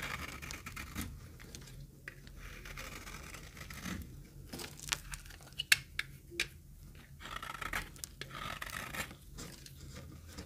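A knife blade shaves crumbly flakes off the surface of an oval, solid, very dry green retro soap bar held in the palm. The clip has steady, bright, dry scraping and crackling, with a few sharper snapping clicks in the middle, over a low background hum.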